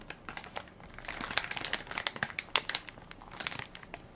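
A full, soft plastic-film baby wipes pack with a plastic lid is held in one hand while fingertips and nails crinkle and tap its film top. Dense, bright crinkling mixes with a run of sharp, short ticks and taps, with almost no low end. Each sound dies away almost instantly.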